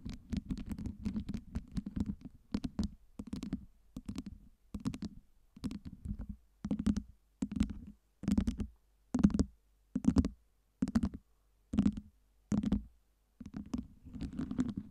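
Fingertips and long nails scratch and tap the sides of a stack of small solid acrylic ice cubes fitted with LEDs. Bursts of quick, dry clicking and scratching with a low hollow tone and brief bright edges come in short repeated spells separated by pauses, denser at the start and end.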